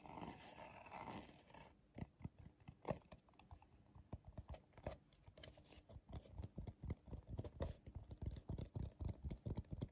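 A medium, hollow, empty bowl made of tightly coiled colorful magazine-style paper strips is held upside down, turned in the hands, and tapped on the outside with short fingernails and fingertips. A brief broadband rustle opens the clip, followed by a quick, uneven run of soft, dull, low taps with almost no ring.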